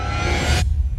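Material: Nothing is struck.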